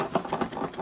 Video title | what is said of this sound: March DC Legion of Collectors Unboxing | it sounds like something rattling inside of it